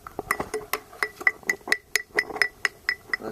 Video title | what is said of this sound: VID00013 | You can hear it's hollow.